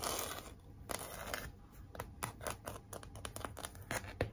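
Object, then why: Cardboard heart sign with glitter lettering. Long nails scratch and tap across a large, flat pink cardboard heart sign and its glitter "Be Mine" lettering. A soft, dry scraping runs under a series of short, bright taps that stop almost at once, with a faint low rumble underneath.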